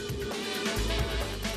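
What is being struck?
Nothing is struck.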